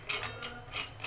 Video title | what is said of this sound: तीळाचे लाडू कसे बनवायचे - पारंपरिक पद्धतीने बनविले संक्रांत लाडू - makara Sankranti #makarsankranti | छान असा खणखण आवाज येतोय बघा शेंगदाण्याचा